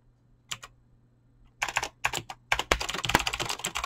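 A full-size mechanical keyboard with Razer clicky green switches and dyed PBT plastic keycaps sits on a desk and is typed on fast with fingertips and short nails. A couple of isolated sharp clicks open the clip, then a rapid, irregular run of bright, crisp clacks follows as the keys are pressed continuously.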